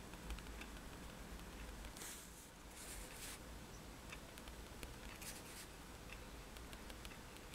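A fineliner pen tip is tapped rapidly on a flat sheet of white drawing paper resting on a table, making dots. Quiet, sharp ticks sound over a steady low hum, with brighter bursts of scratchy taps that clump around two and five seconds in.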